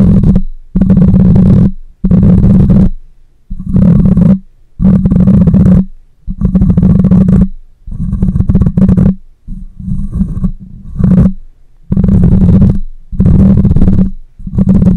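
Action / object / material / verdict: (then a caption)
scrape / metal mesh microphone grille / metal mesh / none. Long fingernails scratch and fingers grip the hollow metal mesh grille of a black microphone, producing loud, muffled, low rumbling bursts with a steady hum near 184 Hz. The bursts repeat in an uneven rhythm, separated by brief near-silent gaps.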